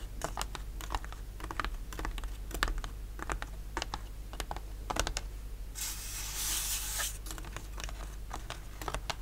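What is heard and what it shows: A thin, flat, solid plywood model-kit sheet with laser-cut ship parts, lying on a linen cloth, is tapped and scratched with the fingertips and short nails of both hands. Quick, dry, clicky taps patter unevenly throughout. About two-thirds of the way in, a longer bright scratching rasp is heard, then the tapping resumes.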